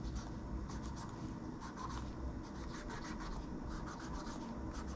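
A gloved hand rubs a cotton swab along the plastic keys and edge of a plastic laptop keyboard, then near the trackpad. A steady, soft scratchy rubbing runs throughout over a low rumble, with faint bright swishes as the swab moves.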